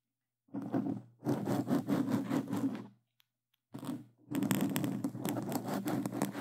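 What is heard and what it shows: Plastic claw glove tips scratch quickly across a black foam microphone cover, producing dense, crunchy scraping in several long bursts separated by short silences. The rasp is full and close, weighted toward the low mids with a rough, noisy texture extending into the highs.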